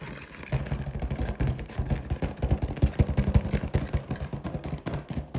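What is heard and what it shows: Long teal nails scratch and tap the skin of a large, hollow, inflated clear latex balloon printed with gold pineapples. A dense, rapid run of low, thumping scrapes and taps fills the clip, booming and rumbly with almost no high end. Each stroke dies away almost instantly.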